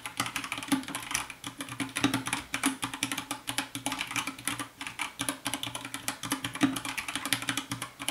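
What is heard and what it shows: Fast fingertip typing with both hands on a compact 60% white plastic mechanical keyboard with a hollow case. It makes a dense, steady stream of sharp, bright clicks and clacks. A faint low, steady tone, possibly soft lofi music, hums underneath.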